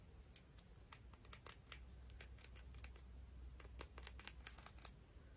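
A piece of coral is tapped and scratched in quick, irregular succession. Each tap is a sharp, dry click with almost no ring, heard over quiet scratching and a steady low background hum.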